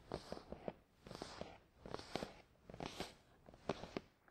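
Fingertips tap and short nails scratch a closed, hollow, glossy black printed cardboard product box for a Tascam DR-100 mkII resting on a towel. Short, dry, hollow knocks with a mid-pitched body come in quick clusters, mixed with light scratchy rustles. The sound is quiet and close, with almost no ring after each tap.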